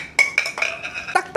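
A hard polycarbonate plastic yo-yo is dropped on the floor and bounces, making a series of short, bright, clacking hits with a high ringing tone that dies away quickly. The impacts sound brittle and crack-like, as if the hard plastic were about to break.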